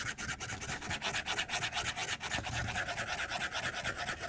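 A white plastic stylus, held upright, rubs and taps its tip across the glass screen of a tablet lying on a desk. The result is a steady, bright, scratchy rasp that pulses with short, quick strokes at an irregular pace, with very little low end.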